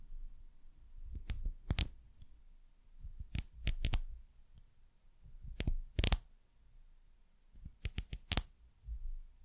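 Long nails tap the glass sides of a small, hollow brown glass bottle with a paper label and a white cap. The sharp, bright clicks come in four quick clusters, each with a thin high glassy tick that stops almost at once, over a quiet low background hum.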